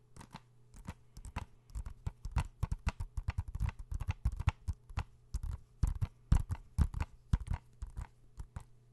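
A blue hollow plastic PS4 video game case, held in both hands close to the microphone, is tapped and scratched with fingertips and nails. Quick, irregular dry taps and scratchy clicks follow one another with almost no ring, each carrying a soft low thump over a faint steady hum.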